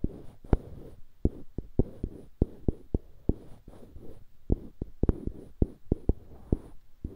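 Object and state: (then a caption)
Wooden block scratched with fingertips. Fingertips scratch the faces of two identical solid light-wood cubes mounted on dark-wood handles, held beside a binaural microphone. A soft, low, rustling scrape runs throughout, broken by about nineteen sharp, dry clicks that stop instantly with no ring.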